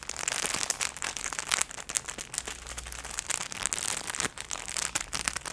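A clear, thin plastic packaging bag holding hand-sized, soft pink fluffy plush gloves is held in both hands with long nails and squeezed and crinkled close to the microphone. It makes a dense, bright crackling rustle of rapid sharp crinkles with almost no low end, rising and falling in bursts throughout.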